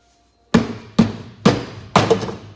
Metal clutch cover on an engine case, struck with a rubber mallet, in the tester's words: If it sounds like it's hollow, that's a good thing.